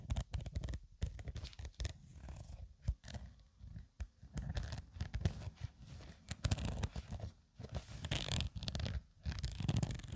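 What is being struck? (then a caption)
Woven nylon zippered toiletry bag. Long nails scratch the surface of a soft, hollow black woven nylon/polyester zippered cosmetic pouch while the bag is tilted by hand. Dense, dry scratching and rustling comes in irregular bursts with brief pauses, heavy in the low end with bright, crisp edges on the stronger strokes.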